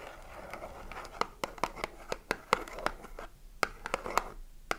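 Long nails tap and scratch the front, side and top of a small cardboard soap box with a bar of soap inside. Sharp, dry papery taps land at an irregular pace over a steady, bright scratching rustle. The taps are short and clicky, with no ring after each one.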